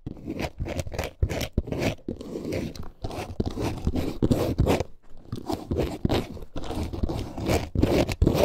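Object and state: Faux leather wallet scratched.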